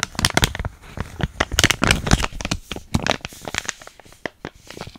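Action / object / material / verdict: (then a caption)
scrape / small filled plastic foil sachet / plastic foil / none. A small, flat, sealed plastic foil hair mask sachet with a Biotin label, still filled, is squeezed, crinkled and scratched with long nails close to the microphone. Dense bursts of bright crinkling and crackling scratches come in quick, irregular clusters, each snapping off almost instantly, then thin out toward the end.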